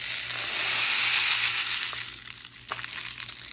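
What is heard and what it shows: A long, hollow brown cardboard tube rain stick, both ends sealed with green covers and rubber bands, is tilted and turned upright by hand so the fill inside trickles and rattles. A dense, bright hiss of falling fill swells over the first second and a half, then thins out into scattered sharper ticks and rattles as the flow dies down.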